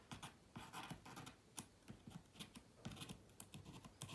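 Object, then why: Plastic laptop keyboard scratched with a wooden toothpick. A wooden toothpick held in the fingertips scratches between the plastic keys of a silver laptop keyboard. The result is quiet, dry, scratchy bursts with bright hiss and soft low clicks, stopping and starting in quick, uneven strokes.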